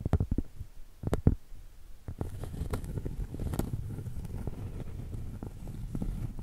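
A round solid cork board, held flat and tilted, is tapped and scratched on its surface and edge with long pointed acrylic nails. Soft, dull, low taps come first, followed by a steady, rustling scratch with quick clicks.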